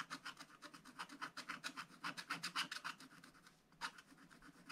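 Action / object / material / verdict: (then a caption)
scrape / coated scratch-art paper scraped with a wooden stylus / coated paper / none. A wooden stylus scratches the top right window area of a black-coated scratch-art paper page with repeated short strokes. About 25 quick, dry, raspy scrapes are heard in an uneven rhythm, each bright and papery with almost no ring, with a brief pause near the end before the strokes resume.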